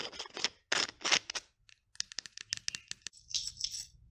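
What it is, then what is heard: Small glass bottle with plastic cap. Long nails tap, scratch and twist the green plastic cap of a small clear glass bottle, taking it on and off. Bursts of bright, raspy scraping give way to an irregular run of short, sharp clicks, ending in a soft, high hiss of twisting.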